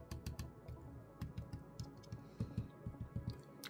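Fingers tap the metal fan shroud on the good side of a 2024 ASUS G16 laptop about fourteen times, used as a reference for comparison with the other shroud. Each tap is a short, dull, low thud with no ringing, and the shroud sounds solid and secure.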